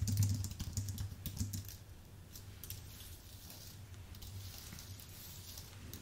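Fingertips type on a white, full-size Apple Magic Keyboard with plastic keycaps on an aluminium base. A quick run of bright, soft key clicks is loudest in the first two seconds, then continues more quietly and unevenly over a steady low hum.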